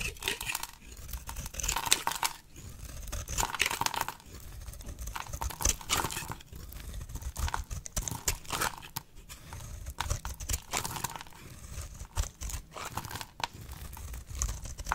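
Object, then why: Bar of soap. A box-cutter blade held by a long-nailed hand slices layers from a solid oval pink bar soap with an embossed stamp. Each cut makes a dry, crumbly scraping and crinkling crunch with bright crackle over a soft low thump. The cuts come in repeated bursts across the clip, each dying away almost instantly.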